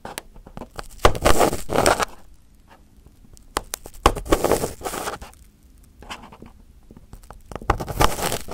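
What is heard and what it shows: A small pin held in the fingertips picks and scratches at crumpled aluminum foil wrapped over a round microphone head. Close, bright crinkling scrapes come in three louder bursts, around the first, fourth and eighth seconds, with quiet scattered ticks and clicks between them.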